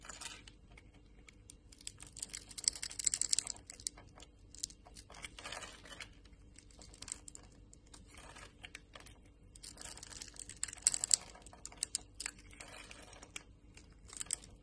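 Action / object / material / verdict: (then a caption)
scrape / bar of soap / soap / none. A solid green embossed bar of soap, held in the hand, is scored in a grid and scraped with a utility-knife blade, producing crunchy shavings. Bright, crisp scraping and crackling come in bursts of rapid clicks and crunches, with quieter gaps between passes. A faint steady low hum sits underneath.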